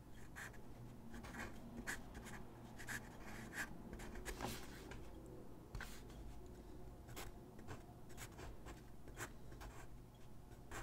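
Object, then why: Paper sheet drawn on with a graphite pencil. A graphite pencil scratches across a single white paper sheet lying on a wooden desk in short gesture strokes. The quiet, dry scratching comes in brief bright bursts over a steady low hum.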